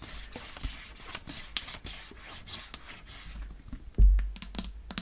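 A clear plastic water bottle with a yellow cap and a printed label is held in the hands and tapped and scratched with long painted nails. Quick, light tapping and bright scratching run throughout, with a louder, deeper thump near the four-second mark followed by a few sharp, crisp clicks.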